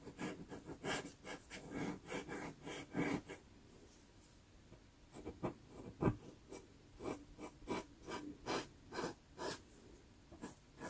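A cotton swab held in the fingertips gently rubs and blends pastel on the iris and eye edge of a drawing on a small taped sheet of Pastelmat paper. Soft, dry brushing strokes come in quick rhythmic bursts with a brief quieter pause partway through. The sound stays quiet and close, with a faint papery hiss over a low, muffled body.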